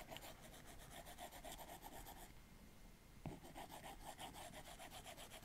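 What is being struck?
Plastic stylus tip on a glass tablet screen.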